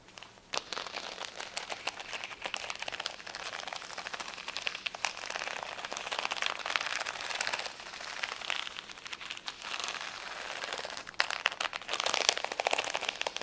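Long acrylic nails scratch and tap across a large, thin, solid flat sheet of rainbow acrylic rhinestone stickers on a clear plastic backing lying on a towel. The result is a dense, bright, crackly scratching texture with quick, dry clicky taps that stop instantly, with almost no low end. Scattered louder taps stand out, especially near the end.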